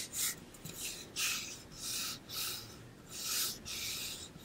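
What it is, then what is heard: Painted metal water bottle being scratched. Fingertips and nails rub and scratch along the painted side of a pink-blue ombre insulated metal water bottle, about 0.5 L and hollow with a metal base and cap, held close beside the ear. Five bright, hissing rasp strokes sweep in uneven bursts over a quiet background, each fading quickly between passes.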